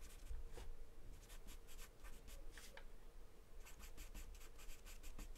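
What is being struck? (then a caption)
Wooden pencil on taped drawing paper. A wooden pencil scratches short strokes across a thin, flat sheet of white drawing paper taped down. The scratchy, bright strokes come in quick bursts over a quiet, low background rumble, with a brief pause midway before a faster run of strokes.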